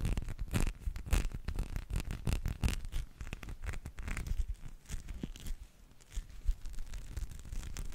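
A small teal spiky rubber massage ball, likely hollow, is rubbed against the microphone and scratched with fingertips. This produces a continuous run of rough, scratchy rustling over a heavy low rumble, with quick bright scraping bursts. The sound dips briefly near the end before the rubbing picks up again.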